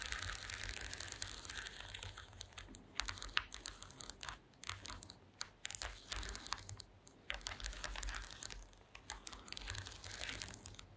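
Very long green acrylic nails on both hands tap and scratch across a flat, thin, solid woven wooden or bamboo slat mat resting on a table. The result is a quiet, dense stream of sharp, dry clicks and bright, hissy scratches that come in quick bursts with short pauses, over a faint low hum.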